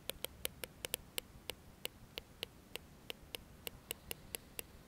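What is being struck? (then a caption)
Plastic comb. A dark plastic comb is held upright while its teeth are strummed and flicked with the fingernails. Nineteen sharp, bright clicks ring out at an uneven pace, each dying away almost instantly over a faint low background hiss.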